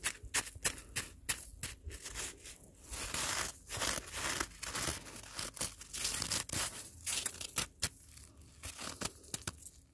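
Gloved fingertips rake and scratch an icy, granular snow surface on the ground, giving bright, crisp crunching and scraping bursts. The sound comes in rapid, uneven strokes, some short and sharp, others longer, grainy rasps.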